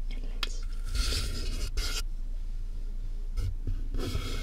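Fingertips and nails tap and scratch the top of a medium, closed, hollow corrugated cardboard box with a microphone inside. Bursts of dry, bright scraping alternate with soft, hollow, low-pitched thuds against a steady low rumble.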